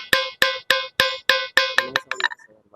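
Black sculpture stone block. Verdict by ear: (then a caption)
Hard. A Krishna Shila (Eka Shila) stone block used for carving idols is tapped seven times at an even pace, then several quicker, lighter taps trail off. Each strike gives a clear, iron-like metallic ring with a tone near 530 Hz, bright overtones, and a short decay, unlike ordinary stone. The ring shows the stone is hard and good for sculpting.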